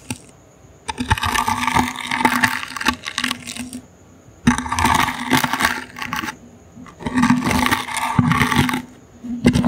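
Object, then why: Small woven wicker basket. A small, hollow, brown woven wicker basket is held in the hand and scratched with the bristles of a toothbrush. Three passes of dry, crackly scraping, full of rapid ticks and a bright rasp, are separated by short quiet pauses, and a faint high steady tone sits underneath.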